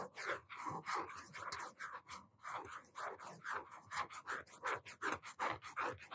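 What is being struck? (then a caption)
Cardboard hardcover notebook cover. A blue hardcover notebook with a cardboard cover is held upright in both hands while fingertips and nails tap and scratch its front cover. The result is a quick, uneven run of dry, papery taps and scratches, bright in the midrange with little low end, and each one dies away almost at once.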